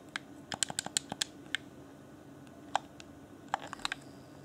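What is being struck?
Plastic game controller buttons.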